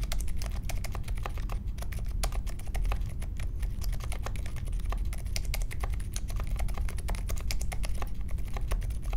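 Steady two-handed fingertip typing on a small 60% Polaris mechanical keyboard with a grey case, white, mint and pink plastic keycaps, and Silent Alpaca linear switches, resting on a marble desk. A rapid, continuous stream of soft, short, muted key clicks sits over a steady low rumble. The keystrokes stay even and damped throughout.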